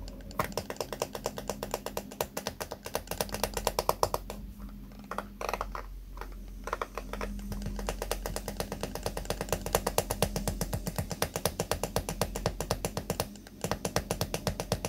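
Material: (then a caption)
Plastic. A small pink plastic hairbrush is held sideways while fingertips and nails rapidly flick and scratch across its white pin bristles. The result is a fast, uneven stream of short, dry ticking clicks with brief pauses, over a steady low hum in the background.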